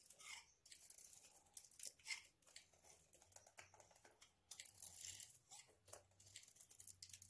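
A hand-sized solid bar of dry soap coated in nail polish, with red polish patches, is held in the hand and scraped and shaved with a utility knife blade. Quiet, dense, bright crunchy scraping and crackling comes in bursts of short, dry strokes with no ring, broken by brief pauses.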